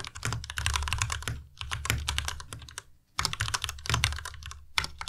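A white plastic Ducky Miya Pro tenkeyless mechanical keyboard is typed on continuously with the fingertips of both hands. Rapid, overlapping key strikes combine a low, hollow thock with bright plastic clatter, each decaying quickly. A brief lull falls just before the three-second mark before the typing resumes.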